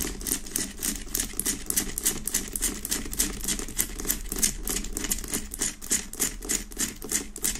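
Both hands tap and scratch quickly with fingertips and long nails on the sides of a large, solid rock-salt Himalayan salt lamp with a rough, pale pink crystal surface, set on a wooden base. Rapid, uneven bursts of bright, crisp clicks and dry scratchy rasps repeat about three times per second. A steady low hum runs underneath throughout.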